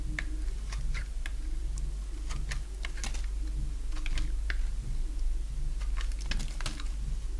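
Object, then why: Bar of soap cut with a blade. A box-cutter blade shaves curls from a solid oval bar of dry yellow soap held in the palm. The scrapes make quick, irregular, crisp ticking cuts, each very short and bright, over a steady low hum.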